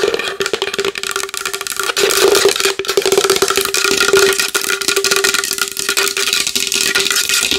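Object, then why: Large wooden bowl. A large wooden bowl is tapped fast and hard with long nails, making a dense, continuous stream of sharp, bright clicks and rattling taps. A steady hollow wooden tone around 410 Hz rings under the tapping, with no low rumble.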